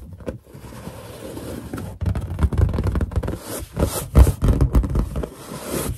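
Fingers rub a large, hollow, inflated white latex balloon while long nails scratch and tap its surface. Soft scraping rustles give way to a busier stretch of dull, low, boomy taps and rubs that die out almost instantly, mixed with brief bright scratchy streaks.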